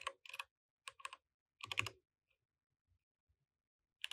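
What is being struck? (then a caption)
Mechanical keyboard with plastic keycaps. Both hands type with their fingertips on a compact mechanical keyboard with plastic keycaps while the mouse stays idle. Short, bright, clicky keystrokes come in quick bursts separated by brief silent pauses, ending with one last flurry of keys.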